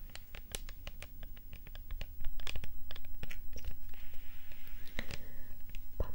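A hollow, dark purple plastic setting-spray bottle with a spray nozzle, held in the hands, is tapped and scratched with long nails. Quick, light, sharp clicking taps come in a steady patter, growing louder after about two seconds, with a softer scratching rasp mixed in toward the end.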